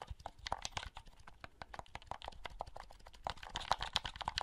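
Fingertips click the buttons of a small, hollow blue plastic handheld game console held close and handle its shell. The result is a quick, irregular run of short, dry plastic clicks and taps with no ring, set against faint rustling of the shell. The clicking grows slightly louder and brighter toward the end.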